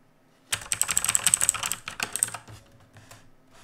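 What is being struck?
Mechanical keyboard with plastic keycaps.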